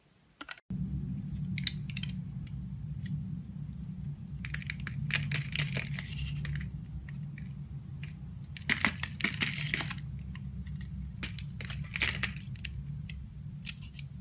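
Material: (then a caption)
Soap. A box cutter blade scrapes and carves shavings off a solid, palm-sized oval yellow bar of soap held in one hand. Dry, crackly scraping bursts and sharp bright clicks come in uneven runs over a steady low hum that begins just under a second in. The scraping is loudest around the middle of the clip.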